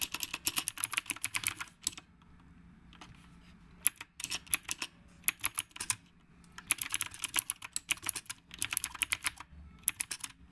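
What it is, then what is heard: Typewriter-style mechanical keyboard being typed on. Fingertips type with both hands on a retro typewriter-style mechanical keyboard with round plastic keycaps. Bursts of sharp, bright, clicky keystrokes come in quick runs, separated by short quiet pauses. Each click dies away almost instantly, with very little low end.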